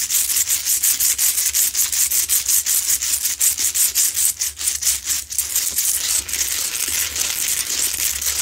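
Long pointed nails grip and scratch the rough, textured surface of a medium, lit pink Himalayan salt rock lamp. The result is a fast run of dry, bright scraping strokes, a continuous high hiss with repeated dips between strokes. The strokes run at a steady, energetic pace throughout, with almost no low end.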